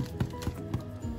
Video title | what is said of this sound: Irish soda bread with Thermomix | you should hear that hollow tapping sound, and then you know that it's cooked through